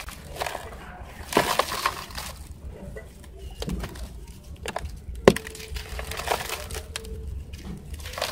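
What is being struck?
Dry sand clumps.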